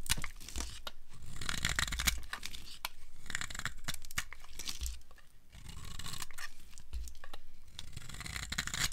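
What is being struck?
Soap bar scraped by a steel blade.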